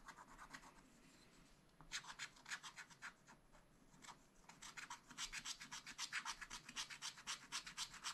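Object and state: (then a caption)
Scratch-art paper being scratched with a stylus. A wooden stylus held in the fingers scratches away the black coating of a spiral-bound scratch-art pad, black over colored foil paper, lying flat. Quick, bright, dry scratching strokes come in bursts, with short quieter pauses between them. The strokes grow denser and louder toward the end.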